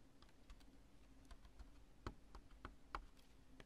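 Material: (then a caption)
Polyurethane foam. Long nails tap on a chunk of cured polyurethane construction spray foam with smooth, bulbous lobes. The taps are short, quiet, dry clicks with brief bright edges, falling at an irregular pace over a faint steady low hum.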